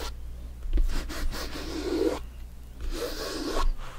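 Bare fingertips rub and scratch the top and sides of a full-size, inflated, hollow soccer ball with stitched synthetic leather panels. Two long, dry, rasping strokes sweep across the surface, separated by a brief pause, over a steady low hum.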